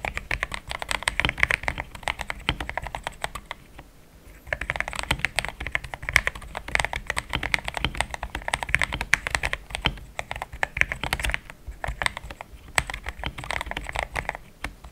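Fingertips of both hands type steadily on a compact pink-and-cream plastic mechanical keyboard with thick XDA-profile keycaps, Gateron Yellow switches and a polycarbonate plate, sitting on a desk mat. The result is a dense run of short, bright clacks with no ring, centered around 2 kHz, with brief pauses near 4 and 11.5 seconds.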